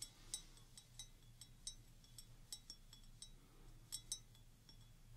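Fingertips and long nails tap the bowl of a clear stemmed wine glass, partly filled with water and held in one hand. A series of light, irregular taps gives short, bright, chime-like clinks that fade quickly, over a faint low hum.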